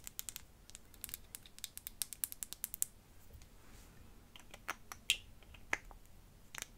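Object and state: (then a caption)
Glass perfume bottle. A small clear glass perfume bottle with a faceted glass cap is tapped and scratched with long fingernails. A quick, uneven run of bright, sharp clicks comes first, then a stretch of soft scratching. Sparser taps follow, some with a brief glassy ping.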